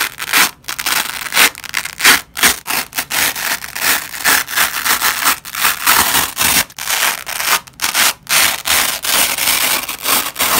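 Black-gloved fingers pull apart the layers of a yellow and white nylon hook-and-loop strip resting on a red cloth. The result is a steady series of bright, rasping rips with short pauses between pulls and almost no low end.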